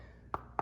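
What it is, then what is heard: Hollow travertine floor tile. Two taps on a lifted travertine floor tile, about 0.3 seconds apart, each give a short, dull knock centered near 800 Hz that dies away almost instantly. The tile sounds hollow and is one of the problem tiles to be filled with epoxy.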